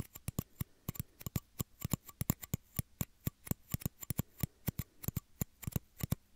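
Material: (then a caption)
Plastic. Two small, hollow, empty clear plastic shot glasses, held beside the microphone's ears, are tapped with fingertips and nails in a quick, irregular rhythm. About 33 short, dry clicks sound, each with a low hollow body and a bright tick on top. Every tap dies away at once with no ring.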